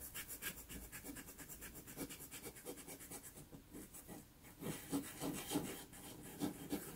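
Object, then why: Pastel-coated paper sheet rubbed with a cotton swab. A cotton swab held in the fingers is rubbed in small circles over a small taped sheet of pastel-covered Pastelmat paper to blend a blue iris. The sound is a soft, dry, brushy rubbing, repeated in quick and somewhat uneven strokes of about three per second with a faint low body and a light hiss at the top. The strokes briefly fade near the middle, then return a little louder and more pronounced toward the end.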